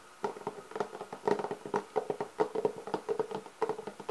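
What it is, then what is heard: Hard-shell clarinet case, hollow. Both hands rub, scratch and tap with nails and fingertips on the lid of a hollow, black, leather-textured hard-shell clarinet case. A quick, uneven run of dry taps and scratchy strokes, each with a short hollow knock pitched around 430 Hz, dies away almost at once.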